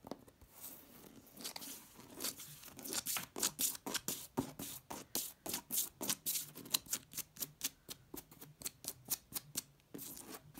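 Long red-painted nails rapidly scratch and tap a flat wall covered in embossed, patterned vinyl wallpaper. About 34 short, dry, bright scrapes and taps come in an uneven, fast run of roughly four per second. Each one is crisp and papery, with almost no low end and no ring after it.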